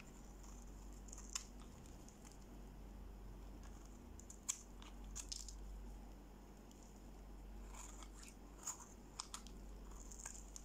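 A solid, dry green bar of soap is held in the hand and scraped with a utility-knife blade, shaving off crunchy curls and sticks. Quiet, brittle scratching and crackling runs throughout, punctuated by sharp, bright crunchy snaps over a low steady hum.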